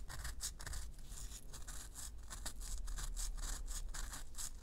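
Long nails scratch the crumbly surface of a solid, round pressed-powder bath bomb held in both hands. The result is a fast, uneven run of dry, bright scratching bursts over a steady low rumble.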